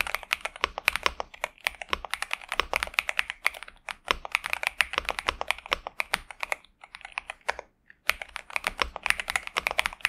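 Both hands type continuously with their fingertips on a pink and purple 65% Xinmeng M71 mechanical keyboard with TTC Superman switches and plastic keycaps, resting on a desk mat. Rapid, bright, clacky keystrokes sit mostly around 2.4 kHz with almost no low end, each hit dying almost instantly, with a brief pause near the eighth second. The result is a steady, pleasant mechanical typing sound.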